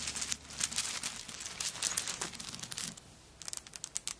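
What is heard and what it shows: Long nails scratch the coconut shell chips covering a handbag and grip the bag, making dense, bright, crackling scratches and clicks for about three seconds. After a brief quiet pause, a few sharper, separate clicks follow.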